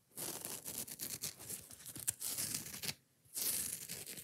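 Long nails scratch fast across the rough green nylon scouring pad of a foam kitchen sponge, close up. The result is a bright, dry, rasping scrape in rapid strokes, broken by a brief pause before the scratching resumes.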